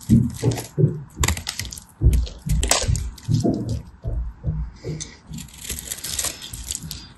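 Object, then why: Soap bar. A knife blade shaves and scrapes the surface of a hand-sized solid bar of purple and white striped soap held in the hand, cutting a crosshatch pattern and raising thin curls. A series of short, dry scraping strokes is heard, each with a low, muffled body and brief bright, crackly edges that stop almost at once.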